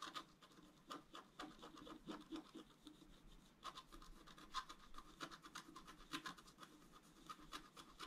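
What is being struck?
Wax-coated scratch-art paper sheet.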